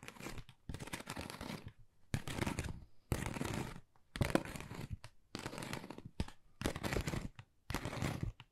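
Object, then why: Textured cardboard envelope. Long nails tap fast on a flat, pink, textured cardboard Dior gift envelope held upright. The result is repeated bursts of dense, dry, crinkly tapping with short pauses between them. Each burst is a quick patter of tiny clicks with a soft low thud beneath and no ring.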